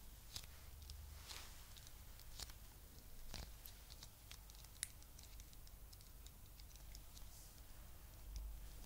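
Long nails tap and scratch the smooth shell of a closed, palm-sized translucent pink plastic egg container, hollow and filled with pink foam clay beads. Quiet, scattered, bright clicks and soft scratches sit over a steady low hum, with a few sharper taps standing out.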